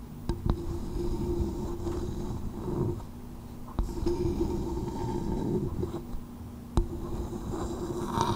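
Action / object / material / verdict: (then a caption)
tap / coconut shell bowl / coconut shell / none. Long nails tap the outer shell of a small, hollow coconut shell bowl resting on a microphone while a hand cups it. Sharp, short clicks stand out over a low, hollow, muffled rumble with a faint steady resonant hum, and the rustling of the cupping hand rises and falls throughout.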